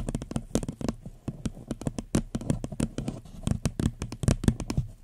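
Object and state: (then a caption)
Empty paper cup, hollow. Long nails tap quickly on the sides of an empty, floral paper cup turned upside down over the microphone. The result is a rapid, uneven run of short, dry taps with a hollow, low-pitched body and a faint bright click on each strike, dying away almost instantly.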